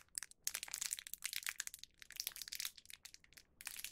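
A small printed plastic film packet holding one full, round cheese rice cracker (cheese okaki) is pinched and crinkled with the fingertips of both hands. Dense, bright crackling and crinkling come in bursts, with brief quiet gaps between them. There is almost no low end.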